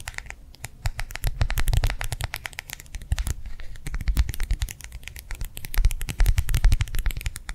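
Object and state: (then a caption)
Gel-filled plastic hand warmer pad. A small, round, clear plastic gel-filled hand warmer pad is held in the hand and tapped and scratched with long nails. Fast, uneven clicking taps and scratches run throughout over a dull, low, soft thump from the gel. Each tap stops almost at once, with louder bursts near the middle and end.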